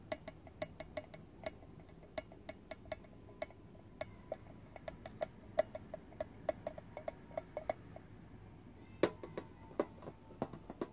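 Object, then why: Small round hinged metal tin. Fingernails tap and rub on the closed lid of a small, round, hinged metal tin. The result is dozens of quick, quiet, bright clicks with a faint metallic ping around the mid range, each dying away almost instantly, over a soft scratchy rubbing.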